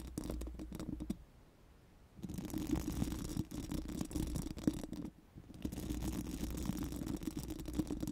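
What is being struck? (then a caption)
Steel mesh microphone grille rubbed with silicone brushes. Four pink silicone spoolie brushes are rubbed over a bare, hollow steel mesh microphone grille, making a dense, scratchy brushing texture with a low, hollow hum. The rubbing stops briefly twice, then resumes.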